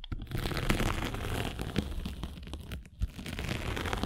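A metal-spiked derma roller is rolled and pressed across a gray grit sanding sponge with a blue foam core, held flat. It makes a steady, dense crunching and crinkling scratch over a low rumble, with brief brighter crackles and a short dip in loudness near the end.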